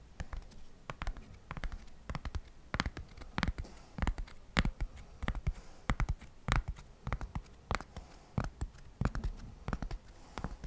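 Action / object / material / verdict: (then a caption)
tap / flat cork coaster / cork / none. A single solid, flat square cork coaster, held in one hand next to the microphone, is scratched and tapped with fingertips and nails. Quick dry taps and short scratches come in an uneven rhythm, each with a soft low thump and a bright click that dies away almost at once.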